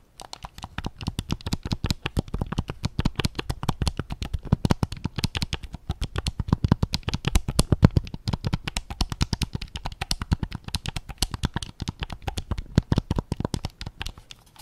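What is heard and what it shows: Fingertips tap rapidly and continuously on the grip of a white PS5 controller made of hollow plastic, held sideways. Each tap is a short, dry, low knock that dies away almost instantly. The taps vary slightly in loudness throughout.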